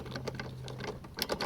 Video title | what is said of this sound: First Impressions - RYOBI 40v self propelled mower | you can hear it clanking around so whenever you're like moving the handle